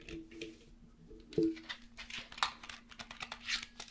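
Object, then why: Plastic USB numeric keypad. A small black plastic USB numeric keypad, its cable attached, is held in the hands while fingertips tap and press its keys. The result is a quiet, irregular run of short, bright plastic typing clicks over a faint low steady hum.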